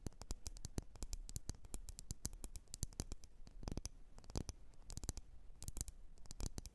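Long nails tap and scratch on a lit, wax-filled red glass candle jar. The result is a rapid, irregular run of sharp, bright clicks with very short decay, mixed with soft scratching over a low, steady rumble. The taps come in occasional quick clusters.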